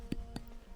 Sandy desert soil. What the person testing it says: Domalan varsa tok tok ses verir